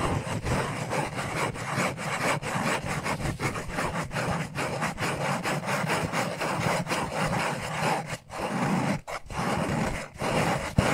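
Fingertips and short nails rub and scratch a small, hollow black cardboard necklace package. The result is a steady, dry, papery scraping made of quick strokes with a low, hollow resonance underneath, briefly pausing around the eight- and nine-second marks before resuming.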